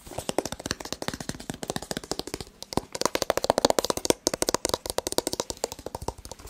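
A hollow white rigid cardboard phone box with a printed front is tapped and scratched rapidly with fingertips and nails, about 49 quick, dry taps over six and a half seconds. Each tap is a short, crisp knock with almost no ring, mixed with light scratching rustle.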